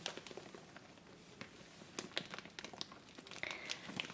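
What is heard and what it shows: Fingertips and long nails press, rub and scratch the surface of a large, full, soft clear plastic bag of soy wax flakes. This makes a quiet, bright, continuous crinkling with scattered sharp, clicky scratches and almost no low end.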